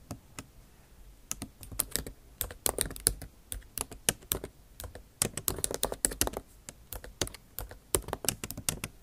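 The tips of long acrylic nails type on a MacBook Pro's backlit keyboard, with bare plastic keys set in an aluminum body. Dozens of sharp, bright clicking taps come in an uneven rhythm after a quieter first second, each dying away almost instantly.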